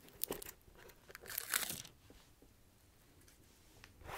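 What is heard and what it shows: A fingernail scratches along the tread grooves of the rubber sole of a black slipper shoe with a red plaid side, the sole facing the mic. Bright, crunchy scraping bursts crowd the first two seconds, fall to a quiet stretch, then return briefly at the end.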